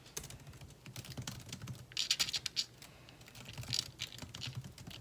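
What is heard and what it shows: Both hands type quickly with their fingertips on the plastic keys of a thin laptop with a metal body. The result is a steady run of short, bright clicks and taps with a faint low thump under them, and a louder burst of keystrokes near the middle.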